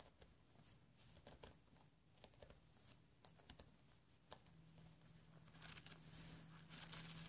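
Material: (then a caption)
Paper. Fingertips and short nails tap and scratch across the orange card cover and edge of a closed paper sketch pad, solid and stacked with sheets, lying flat on a table. Quiet, dry, uneven taps and scratchy rubs repeat throughout, bright and papery, with a faint steady low hum underneath.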